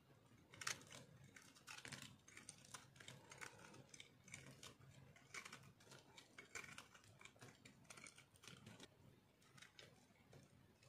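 A solid, dry pink bar of soap held in the hand is carved and scraped with a metal blade, sending flakes falling. The result is a quiet run of dry, crisp crunching and scraping strokes with bright, short-lived bursts and a faint low rumble underneath.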